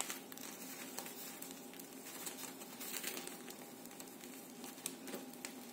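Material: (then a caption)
Bread crust. Freshly baked milk baguettes, just out of the oven after 15 minutes at 200 °C, are handled and pressed so their crust gives off a steady stream of fine, bright crackles and crinkles with faint hiss between. The crust is nicely crispy.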